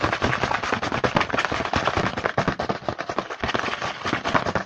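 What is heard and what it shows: A small printed cardboard Hanuta snack box is held in hand while fingertips tap and scratch quickly on its front. The result is a dense, continuous stream of sharp, dry taps and papery scratches with very little ring.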